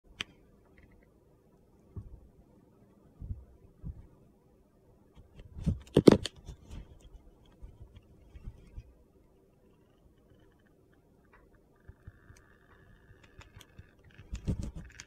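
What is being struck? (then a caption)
Bar of soap shaved with a knife blade. A hand-sized solid white bar of soap with blue speckles is held in the hand while a metal utility knife blade shaves and scrapes thin curls off its edge. Quiet, short scraping and crunchy cutting sounds come in scattered bursts, with the loudest sharp scrape around the middle and a gritty flurry at the end.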